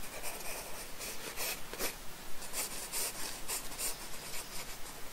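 A wooden pencil scratches and shades a small cake-slice drawing on a paper sketchbook page resting on a wooden desk. The sound is a soft, continuous papery rasp with brighter bursts of strokes throughout.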